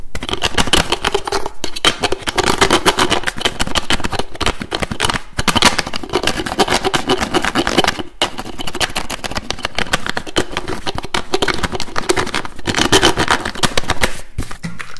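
Fingertips rapidly tap and twist the screw cap of a pink translucent plastic bottle held right at the microphone. A dense, fast stream of sharp plastic clicks, taps and scraping twists runs almost continuously, with a few brief pauses. The result is bright, close, loud clatter over a low rumbling body.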